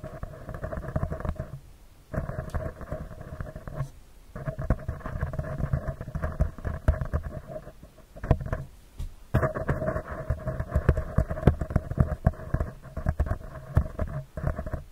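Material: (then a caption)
Metal mesh. Fingertips and short nails tap and scratch a round, hollow metal mesh microphone grille in dense, rapid bursts of close, low-heavy crackling and rubbing with a steady mid-range tone running through them. The scratching stops briefly a few times, near 2, 4 and 9 seconds, then resumes.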